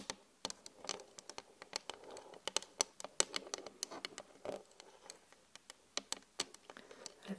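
Long glitter acrylic nails tap and scratch a large flat glass LED vanity mirror with both hands. Many quick, bright clicks and ticks are interspersed with softer scratchy scraping across the glass. The taps are dry with almost no ring.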